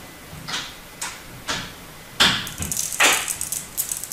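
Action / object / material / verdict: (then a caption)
scrape / bar of soap scraped with a metal blade / soap / none. A metal utility-knife blade scrapes and carves flakes off a palm-sized, solid turquoise bar of hard soap embossed "Absolut," held in one hand. Three light, evenly spaced strokes give way to louder, denser crisp scraping from about two seconds on. The sound is dry, bright and papery, with very little low end.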